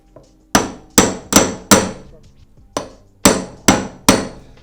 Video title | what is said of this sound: Mazda MX5 Miata Transmission Front and Rear Seal Replacement | Did you hear the way that sound changed? Yep. The dull thud.